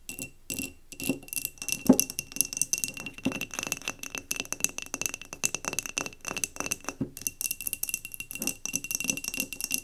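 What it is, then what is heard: Glass jar candle. Long nails tap rapidly around the upper glass of a clear glass mason jar candle, partly filled with cream wax and standing on a table. The taps make a dense run of bright, clicky glass ticks with very little ring.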